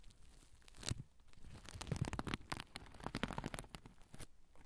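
Fingernails scratch the underside of a soft oval pouch covered in sequins with a black zipper, held over the recorder. The result is dry, crunchy, crinkling scratches in quick irregular bursts, with soft low thumps underneath and a brief bright edge on the sharper strokes.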